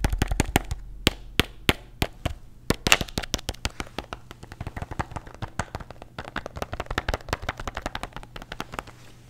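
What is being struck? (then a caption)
Plastic pill bottle with tablets. A plastic bottle containing antacid tablets is tapped rapidly with fingernails, making sharp, bright, dry clicks that die away almost instantly over a faint low hum. Loud, separated taps at the start give way to a quicker, denser, slightly softer flurry that continues to the end.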